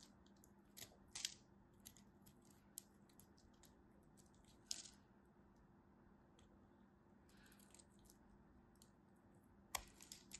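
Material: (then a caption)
Soap. A solid blue striped bar of soap is carved with a craft knife blade, and chips fall off as it cuts and scrapes. Quiet, bright, crisp clicks and short scraping bursts come in scattered spurts over a steady low hum, with the sharpest snaps near the start, middle and end.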